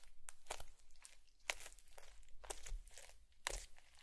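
A bamboo fork is repeatedly poked and pressed into a flat blue foam bead slime patch resting on a white plate. Each press gives a sharp, bright crunchy crackle as the beads pop and shift, with the strongest bursts coming about once per second. Softer crinkling fills the gaps between them over a low background rumble.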